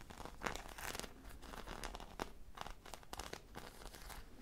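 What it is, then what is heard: Foam squishy toy being scratched. Long nails scratch a hand-sized, popsicle-shaped squishy toy made of soft foam, with a bead or sprinkle coating and a stick, held close to the microphone. The result is a dense run of dry, crackly scratching and crinkling bursts with bright, rough texture and short, quick strokes that fade immediately.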